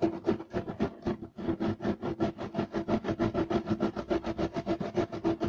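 Short nails of both hands scratch fast and aggressively across a solid, flat beige striped woven loop-pile carpet. The result is a quick, steady run of rhythmic raspy strokes with a bright, scratchy texture over a low rumble.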